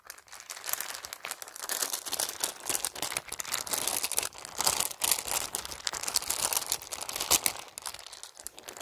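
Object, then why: Handbag covered in plastic beads and metal studs. Fingertips scratch and rub across a beige handbag densely covered in faux plastic pearl beads and gold and rose-gold metal studs. The beads click against each other in a dense, bright, crinkly stream of small clicks and rustles with almost no low end. The rubbing runs steadily throughout, with louder bursts around the middle and near the end.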